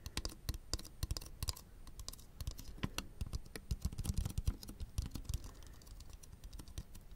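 A small, colorful plastic fidget toy with rings and bubbles is held in both hands near the microphones while fingertips click and press its parts. The result is a rapid, irregular run of short, dry clicks with soft low thumps, much like typing on a keyboard, with a faint steady high tone underneath.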